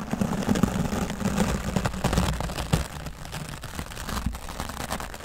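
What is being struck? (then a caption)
Foam microphone windscreen. A wooden-handled bristle dry brush is swept back and forth across the top of a grey foam microphone windscreen. It makes a dense, irregular scratchy rustle with a heavy, muffled low-end rumble. The sound is louder in the first half and eases slightly toward the end.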